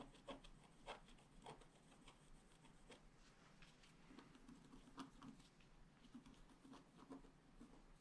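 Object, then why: Scratch art paper sheet with wooden stylus. A wooden stylus scratches away the black coating of a flat scratch art paper sheet while the other hand steadies the sheet. Quiet, dry scratching strokes come in an irregular rhythm, with a few sharper scrapes standing out over a steady soft rasp.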